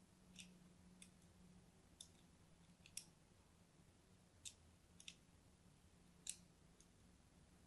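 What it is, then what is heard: Bar soap scored with a blade. A thin metal blade is drawn across the surface of a purple-and-white striped solid bar of soap held in the hand, scoring and scratching it. About ten short, bright, crisp scrapes and clicks are heard, separated by pauses. A quiet low hum runs underneath throughout.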